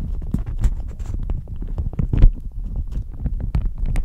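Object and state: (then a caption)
Plastic shower cap being crinkled. A thin, crinkly, pink-flowered plastic shower cap is held up in both hands and crumpled and squeezed with the fingertips, which have medium-length nails. The result is a dense, continuous run of soft crackling and rustling with a low, muffled body, broken by quick, bright crinkle snaps that die away almost instantly.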